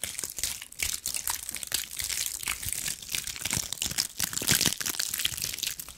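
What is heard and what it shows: A fist-sized, ball-shaped bundle of small dried pine cones with brittle woody scales is held in both hands and scratched and squeezed with long acrylic nails. Dense, dry crackling and crunching pops come in quick, uneven bursts, bright and crisp with very little low end.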